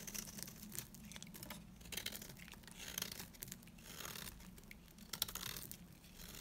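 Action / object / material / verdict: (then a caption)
scrape / bar of soap cut with a metal blade / soap / none. A hand-held piece of dry beige bar soap, getting smaller, is scraped by a metal cutter blade that shaves off curls. Bright, dry crinkling and scraping sounds come in uneven bursts with soft tearing textures between them.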